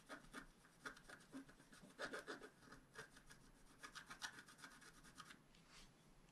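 A wooden stylus held in the fingers scratches the black coating off a flat, roughly A4-sized scratch-art card lying on a table, revealing colour underneath. An irregular run of short, dry, raspy scratching strokes is heard, quiet and bright, with a faint tonal edge around 1.5 kHz.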